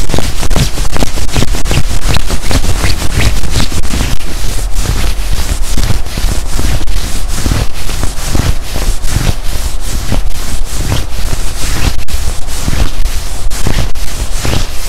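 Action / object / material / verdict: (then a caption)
scrape / quilted nylon puffer jacket / nylon / none. Fingertips of both hands scrunch and scratch the padded chest of a black quilted nylon puffer jacket being worn. A dense, steady run of quick scratchy rustles and crinkly swishes carries bright streaks over a heavy, low, muffled thump. The sound stays close and loud throughout.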